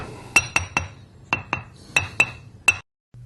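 An abrasive grinding wheel with a crack is tapped eight times, each tap giving a short, bright click near 2.7 kHz that dies away almost at once. The sound is dead with no sustained ring, because the crack stops the vibration from carrying around the stone.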